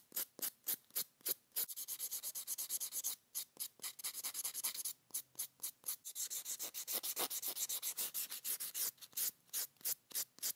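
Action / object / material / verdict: scrape / foam buffer block rubbed on plastic nail tips / foam, plastic / none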